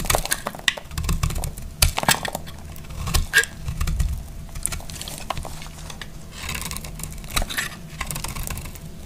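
A solid green marbled bar of dry soap, held in the hand, is cut with a utility knife blade. Crunchy, scraping slices crackle with sharp, bright snaps over a low, dull rumble, each cut dying away almost at once.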